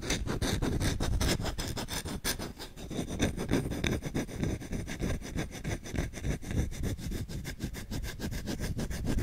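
Short nails scratch aggressively across the back and edge of the bowl of a solid wooden spoon held in one hand. The result is a fast, rough, continuous scratching of quick, uneven strokes, about three per second. It has a heavy low rumble under bright, gritty streaks and stays at a steady level throughout.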